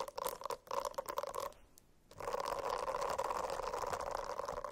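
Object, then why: Silicone-covered notebook. Fingernails scratch a silicone-covered notebook in quick, uneven strokes, making a dry, raspy scraping with a steady midrange tone. Short bursts of scratching pause into near-silence for about half a second, then resume as a continuous, denser scratch to the end.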